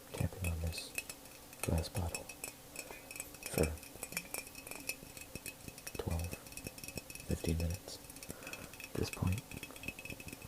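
A glass water jug filled with water is tapped and smacked with the fingers, producing clusters of dull, low thumps with bright glassy clinks and a faint ringing tone. The hits come in bursts of two or three, at roughly 0.5, 1.8, 3.6, 6.1, 7.5 and 9.2 seconds, separated by quieter lighter taps.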